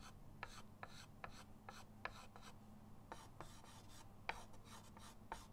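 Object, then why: Chalk stick on a framed chalkboard. A white chalk stick held by the fingertips draws short, scratchy lines across a flat, solid chalkboard in a wooden frame resting on a table. Each stroke gives a brief, dry rasp with a bright, airy edge, set against a steady low hum.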